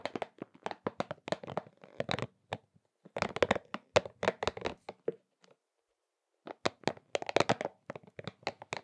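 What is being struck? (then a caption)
Soft rubber spiky massage ball. A pink soft rubber spiky massage ball is squeezed and rubbed between both palms and fingers. It makes rapid bursts of short, crackly squeaks and taps with a bright edge. The bursts stop for about a second midway, then pick up again.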